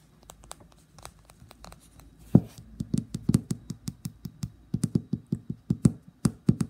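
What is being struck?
Small glass nail polish bottle.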